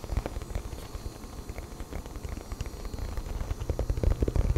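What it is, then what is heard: Cardboard phone box. Fingertips and nails tap and scratch the surface of a small, rigid, hollow black printed cardboard smartphone box held in both hands. The result is a fast, irregular run of dull, low, hollow thumps mixed with soft scratching, growing louder toward the end.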